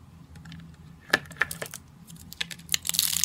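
Fingertips squeeze and crush small rolled rosettes of thin, dry green-and-white soap shavings on a granite surface, breaking them into brittle flakes. Sharp, bright, dry crackles and crunches come in an irregular series over a faint low hum, growing denser and louder toward the end.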